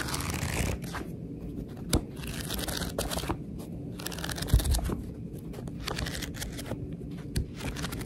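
A fingertip with a long nail riffles and scratches the stacked page edges of a paperback book, lying back cover up with its barcode showing. It makes a steady, shuffling, papery rustle with bursts of bright crackle. A few sharper ticks stand out near 2, 4.5 and 7.4 seconds.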